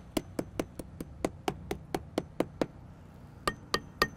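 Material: Concrete.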